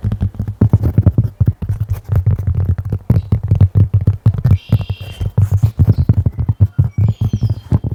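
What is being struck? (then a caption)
Cork object. Dense, rapid tapping on a cork object, a steady run of short, dull, low knocks with almost no ring, like a soft clip-clop. Brief high chirping tones come through faintly in the background partway through.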